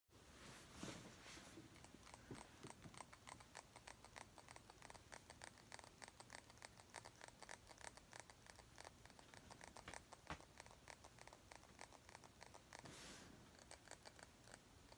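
A small round clear glass perfume bottle, partly full of yellowish liquid, is held up and tapped rapidly with long painted nails. The result is a steady stream of dozens of quiet, sharp glassy clicks that die away almost instantly over a faint low hum.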